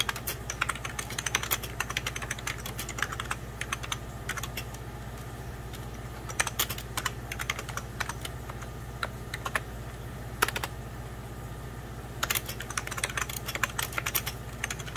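Fingertips of both hands type on a hollow, beige 1990s Packard Bell plastic computer keyboard, producing rapid bursts of short, bright plastic key taps with brief pauses between runs. A steady low hum sits underneath throughout.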